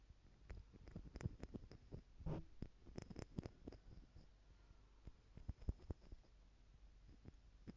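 Long nails tap the lid of small clear plastic stacking jars, partly filled with gold glitter and held in one hand. The result is a quiet, uneven string of short, dry clicks that bunch together in quick flurries, with a soft low thump under each tap and almost no ring.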